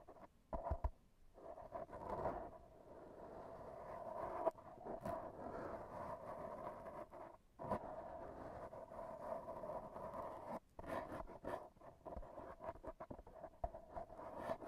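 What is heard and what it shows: AA batteries worn on the fingertips tap and rub against a soft, porous black foam windscreen on a handheld recorder. The result is a close, muffled scratching and brushing with a steady midrange hum around 650 Hz, broken by brief quiet gaps and scattered soft taps with little high end.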